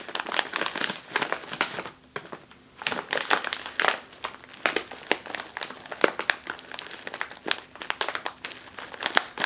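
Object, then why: Foil-lined plastic chip bag. A full, sealed, foil-lined plastic chip bag rests on a table while one hand with long nails presses and scratches its top. Dense, bright crinkling and sharp crackles come in quick bursts, with a brief quieter pause near the two-second mark before the scratching picks up again.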